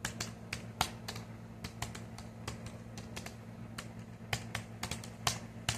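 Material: Plastic.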